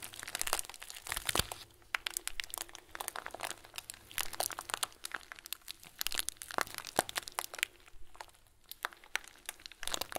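A hand-sized clear plastic bag full of small white plastic pearls is held in one hand and squeezed with the fingers. The result is a continuous run of soft, bright crinkling and crunchy clicks, each transient sharp and dying out instantly, over a quiet low background.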